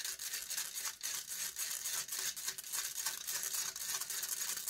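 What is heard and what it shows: Long nails scratch and pick at the metal wire-mesh grille of a USB microphone. The result is a dense, bright, hissy rasping made of rapid, irregular strokes with almost no low end. The sound is continuous, with short dips between scrapes and no lingering ring.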